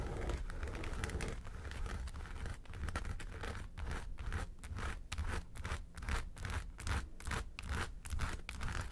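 Long nails scratch the side panels of a small, hollow, yellow textured faux-leather makeup suitcase. The scratches come as quick, raspy strokes over a dull, low, hollow body tone, settling into a steadier back-and-forth rhythm in the second half.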